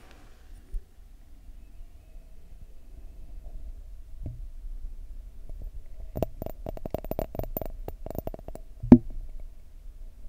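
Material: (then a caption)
Glass. Fingers tap and scratch on a textured glass object, giving clicky, crisp sounds. After a mostly quiet start with a few isolated soft taps, a quick run of short, dry clicks with a faint ringing tone near 650 Hz comes between about 6 and 8.5 seconds. A single sharper, louder tap lands near 9 seconds.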